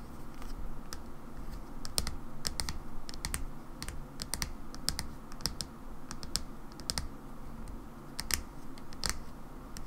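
Long nails tap the side of a hollow mauve plastic hair cream bottle held in the hands. The result is a steady, irregular run of short, sharp, bright clicks with almost no ring, over a low, soft rumble.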